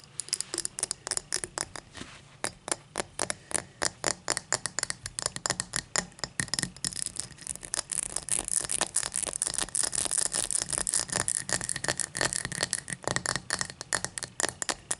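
Long matte black nails tap and scratch the faceted side of an empty, hollow, tall cut-crystal glass tumbler lying on a towel. Dozens of quick, bright clicky taps with a faint glassy ring around 1.8 kHz die away almost instantly, mixed with light scratchy rasps that run steadily through the clip.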